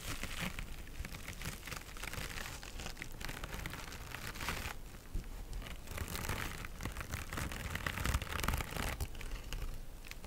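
Long nails scratch the textured surface of a small pink mesh-covered synthetic scrub sponge held in both hands. The result is a steady stream of quick, dry crinkling scrapes with a bright, hissy edge over a soft low rumble, the scratching continuing without a break.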